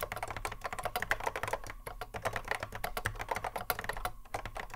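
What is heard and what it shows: Fingertips of both hands touch-type continuously on a cream Apple M0110A keyboard, which has a hollow plastic case and Alps SKCC mechanical switches and sits on a wooden desk. A rapid, steady stream of short, crisp clacks follows, each with a mid-pitched click around 1.6 kHz that dies away almost instantly, over a faint steady low background.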